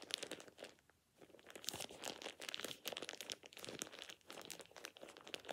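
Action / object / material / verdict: scrape / thin plastic shower cap / plastic / none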